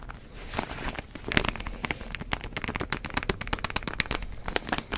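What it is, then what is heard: Plastic bottle screw cap being twisted. Fingertips twist and rub the white plastic screw cap of a medium plastic drink bottle with a green label, which seems to hold liquid. Rapid, irregular sharp lid clicks and crinkles snap over a soft rustling bed, each click dry and bright with no ring.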